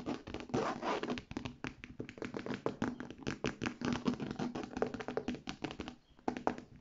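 Medium-length dark red painted fingernails and fingertips rapidly tap and scratch across the front panel of a hollow, medium-sized cream structured handbag of textured faux leather with gold metal hardware and handles, its contents not visible. The sound is a dense run of quick, dry, short taps mixed with scratchy rasps, briefly quieting near the end before a final burst.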